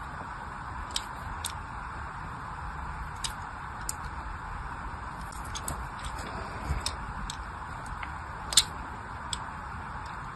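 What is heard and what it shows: A small blade cuts a crosshatch grid of shallow scratch lines into the surface of a hand-sized, solid orange bar of soap held in one hand. Eleven brief, bright scratching clicks stand out over a steady, soft background hiss. Each click dies away almost at once.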